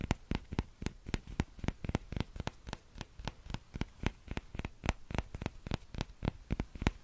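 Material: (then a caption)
Plastic. Fingertips tap the hollow bowl of a small, empty orange plastic ladle held by its handle in the other hand, making about 30 quick, uneven taps. Each tap is a short, dull knock with a low thud and a faint bright click that dies away almost instantly, over a low, steady hum.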